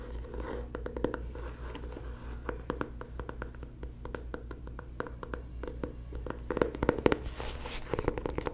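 A small, rectangular, black printed cardboard box, likely empty packaging, is held in one hand and tapped and scratched with long fingernails. A rapid, uneven series of short, dry, sharp taps mixes with scratchy rustling over a steady low hum. A few louder taps stand out near the end.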